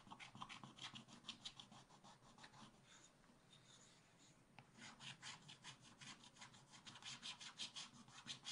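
A wooden stylus scratches the black coating near the bottom of a scratch-art book page, then fingers rub loose shavings across the coated paper. Quick, uneven, bright raspy scratches dominate, easing into a softer, duller rubbing stretch in the middle before the brisk scratching resumes.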